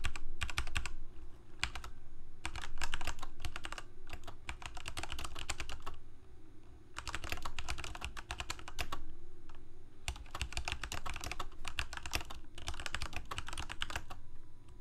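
Fingertips of both hands type continuously on a full-size black plastic Corsair K68 gaming keyboard with backlit keycaps, Cherry MX Red switches and a hollow plastic case. Quick, irregular runs of bright clacking keystrokes are broken by brief pauses, over a steady low hum.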